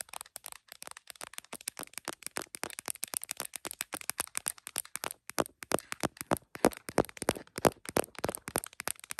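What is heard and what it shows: Long nails from both hands tap and scratch a tripod-mounted iPhone's printed plastic case and its camera bump. The result is a rapid, irregular stream of short, dry clicks with brief scraping in between, each tap fading almost instantly.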